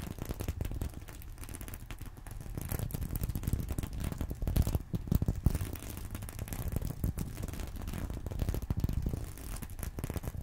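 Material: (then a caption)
Sequins. A fingernail scratches across a small reversible sequin-covered fabric purse resting on a pillow. It makes a steady, dense rustle of tiny scraping clicks, muffled and heavy in the low end, swelling a little louder around the middle of the clip.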